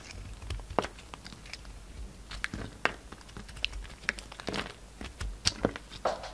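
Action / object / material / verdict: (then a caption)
scrape / bar of soap / soap / none. A utility knife carves and scrapes a hand-sized, solid pink and white bar of soap held in the palm. It makes a series of short, crisp, crunchy cuts and scrapes with bright, dry edges and no lingering ring between strokes.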